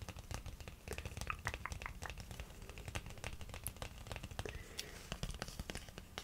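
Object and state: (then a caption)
Cardboard box. A small, hollow printed cardboard box of hydrocolloid spot patches is held in one hand and scratched and tapped with the fingernails of the other hand. A steady run of quick, dry, crisp taps mixes with scratchy scraping, each tap cutting off almost at once.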